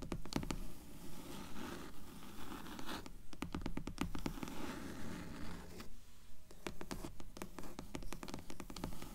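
Long nails scratch the surface of a dark grey hardcover book in quick, fairly regular strokes. The result is a quiet, dry scratching with sharp, brief clicks over a soft low rustle, with short pauses between bursts.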